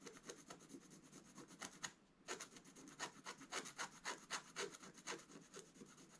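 A wooden-handled scratch stylus scratches away the coating of a thin, flat black scratch-art paper page in a book, held down by one hand, to reveal the colours beneath. Quick, dry, bright scratching strokes repeat in an uneven rhythm, with a short pause near the two-second mark before the strokes resume.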